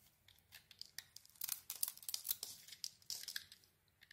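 A metal blade peels shavings off a palm-sized, solid red-and-black patterned bar of soap with a pink interior, held in the hand. A quick series of quiet, crisp scraping and shaving strokes is heard, bright and high with almost no low end. Each stroke stops short with no ringing.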